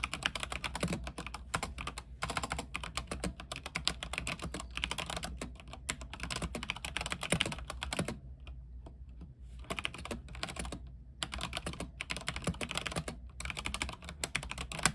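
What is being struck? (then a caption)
Mechanical keyboard with plastic keycaps on a metal frame. Both hands type continuously with the fingertips on an RGB mechanical keyboard with white plastic keycaps on an aluminium frame, making a dense stream of short, bright clacks over a steady low hum. The typing breaks off briefly around the middle and then resumes at the same quick pace.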